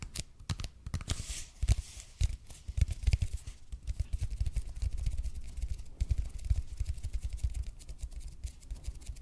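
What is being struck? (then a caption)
Expanded polypropylene foam roller. A red and white speckled expanded polypropylene (EPP) foam roller is held in both hands while fingertips and nails tap and scratch its surface. The result is a steady run of soft, dull, low thuds with very short decay, mixed with faint, brighter scratchy ticks.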